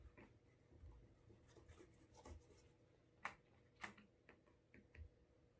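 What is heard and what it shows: Fingertips rub wax over the toe cap and vamp of a brown leather Alden Straight Tip Blucher cap-toe shoe, hollow with a shoe tree inside and held against the table. The result is a quiet, soft rubbing with intermittent sharp, bright ticks and squeaks, two of them noticeably louder in the second half.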